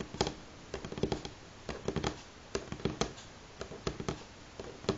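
Fingernails on both hands tap a solid light pine wooden tabletop in quick, uneven clusters separated by short pauses. Each tap is a sharp, dry click with a soft woody thud underneath that stops almost instantly.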